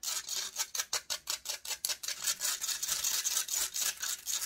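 Long nails scratch rapidly back and forth across the hollow metal mesh grille of a large silver condenser microphone. Separate bright, rasping strokes come first, then blur into denser, almost continuous scratching. The sound is high and hissy, with no low end.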